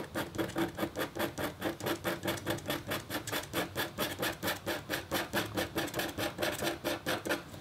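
A metal-tipped stylus scratches a thin, solid, flat black-coated copper foil scratch art board. About 35 rhythmic back-and-forth scrapes come at a steady pace, each with a raspy, bright texture and a faint tonal ring near 336 Hz.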